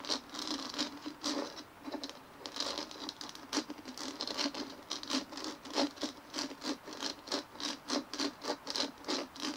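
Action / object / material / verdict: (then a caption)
scrape / dimpled plastic ball / plastic / none. Fingernails scratch and rub over the bumpy surface of a large white dimpled plastic ball resting on a table. The result is a run of short, dry, scratchy bursts with a bright hiss and a faint hollow tone, settling into a loose, steady rhythm of strokes toward the end.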